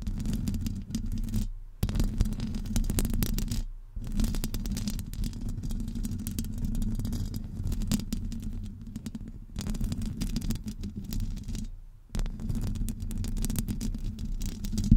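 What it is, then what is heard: Metal microphone grille being scratched. Long acrylic nails scratch the hollow domed metal mesh grille of a Blue Yeti USB microphone, with fingers wrapped around the grille. The scratching is a dense, low rumbling scrape with a hum around 227 Hz. It continues steadily, broken by a few brief near-silent pauses.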